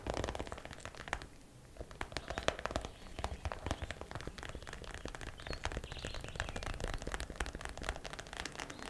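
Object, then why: Clear plastic zip pouch filled with plastic hair rollers. A transparent plastic zip pouch full of plastic hair rollers is held up and tapped quickly with long black nails. The result is a dense stream of sharp, dry clicks and crinkly plastic rattles with almost no ring. The tapping dips briefly quieter around the 1.5-second mark before carrying on steadily to the end.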